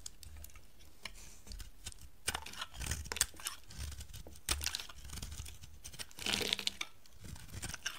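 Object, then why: Bar of soap carved with a metal knife. A solid, dry green bar of soap held in the hand is scraped and carved with a metal knife blade into curls. The clip is a dense series of short, crisp scraping and crunching strokes with bright, high-frequency detail and almost no ring. A soft low rumble sits underneath, and the strokes grow louder toward the middle and end.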